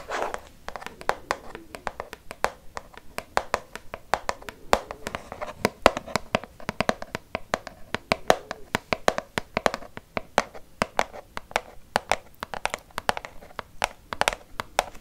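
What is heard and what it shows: Long fake nails tap a green Fa plastic liquid soap pump bottle, about 20 cm tall, hollow and apparently filled. A quick, irregular run of dozens of crisp, dry clicks carries a faint hollow tone around 600 Hz. Each tap dies away almost instantly, with no ring.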